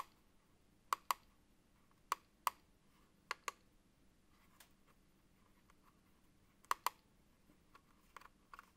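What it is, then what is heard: Plastic mechanical keyboard. A gloved fingertip presses the control button and then the plastic keycaps of a backlit Apex Pro TKL (2023) wired gaming keyboard, a plastic mechanical keyboard with a small OLED screen. The result is sharp, dry clicks, mostly in quick pairs, with fainter taps toward the end. Each click dies away almost at once against a quiet background.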